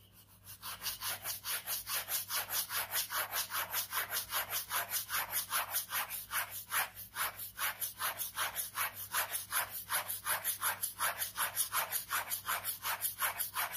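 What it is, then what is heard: Ballpoint pen scratching on a paper sketchbook page. A ballpoint pen scratches quick strokes across the page of a large white paper sketchbook lying on fabric. The scratching comes as a steady run of rapid, dry, bright strokes, about two or three per second, with a hissy, high-pitched texture and almost no low end.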